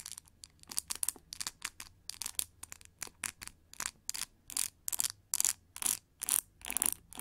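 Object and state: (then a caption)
Plastic paddle hair brush with pins, scratched. Long nails scratch and flick across the white plastic pin bristles, set in a cushion, of a hand-held oval pink plastic paddle hair brush. The result is a quick, uneven run of short, bright, crackly scratching bursts, with almost no low end. Each burst cuts off sharply into a faint hiss between strokes.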